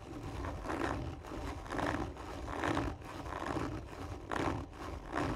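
Long nails slowly and firmly scratch the surface of a hollow, textured cardboard tube lying on its side. Each drawn-out rasping stroke swells and fades in a steady repeating rhythm, and the hollow tube adds a low, boomy resonance beneath the scratchy texture.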